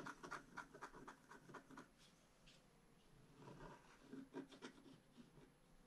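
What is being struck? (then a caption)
Scratch-art paper sheet scraped with a bamboo stylus. A bamboo stylus scratches across the wing area of a flat scratch-art card page held flat. Quick, dry papery strokes come about four per second, fade to a faint rasp around the middle, then return in a second burst.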